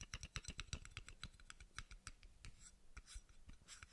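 A small, round, hollow steel screw cap is held in the fingers and tapped and scratched with fingernails. Rapid, irregular, quiet taps give bright, crisp clicks with a soft low thump. Faint scratchy rustles fill the gaps, and the taps fade almost at once.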